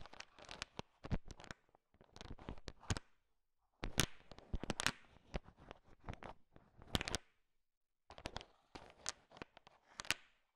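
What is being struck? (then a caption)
Pile of sugar-shell chocolate candies stirred with a wooden stick. A thin wooden stick stirs a large pile of small, solid, sugar-shell-coated chocolate M&Ms, so the candies click against each other. The dense, bright clicks come in three bursts with short silences between them, and each click dies away almost at once.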